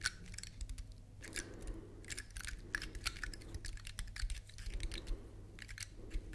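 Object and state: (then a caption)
Dry pine cone. A large, elongated, dry brown pine cone with solid woody scales is held upright while long nails scratch and tap along its scales. The result is a quick, dense run of dry, bright clicks and crisp scratchy rustles that die away almost instantly, over a steady low hum.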